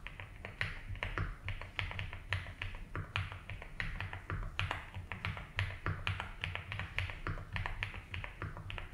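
Fingertips slowly type on a 75% mechanical keyboard with ABS keycaps in a light blue plastic case. A steady run of crisp, clacky keystrokes gives bright clicks around 2 kHz, each dying away quickly, over a constant low hum.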